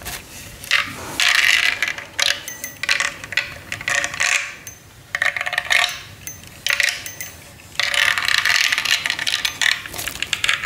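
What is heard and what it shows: A hollow, clear acrylic light-up snowman figure with a red scarf is held and tapped with fingernails. Bursts of rapid, bright clicking taps come and go, with a hard plasticky tone around 1.8 kHz and very short ring after each tap.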